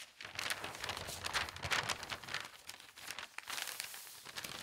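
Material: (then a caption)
Paper. Fingertips with long painted nails turn, smooth and rub large, thin newspaper sheets lying flat and empty on a table. Dense, bright crinkling and papery rustling run continuously, swelling into louder crackly bursts before easing back to a softer, steady rustle.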